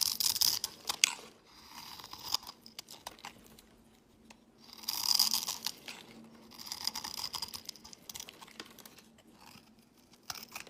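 A solid white rectangular bar of soap, held in the hand, is scraped and carved with a metal blade, shaving off crumbly flakes. Bright, crisp crunching and scratching come in bursts of rapid strokes separated by quiet pauses, with almost no low end.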